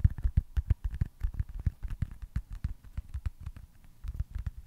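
A small, solid foam stress ball shaped like a baseball, with printed red stitching, is held beside the mic and tapped and scratched with fingertips and short nails. Rapid, irregular soft taps give dull, low, muffled thuds that die away almost instantly, mixed with faint scratchy brushing. The taps come in a busy stream, easing slightly in the middle before picking up again at the end.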